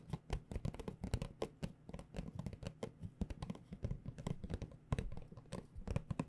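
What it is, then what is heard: Cardboard tea box. A small, hollow, rectangular white printed cardboard tea box is held in both hands and tapped with long dark-painted nails and fingertips. The result is a rapid, continuous stream of short, dry, hollow taps with a deep boxy thud and brief clicky edges that stop almost instantly.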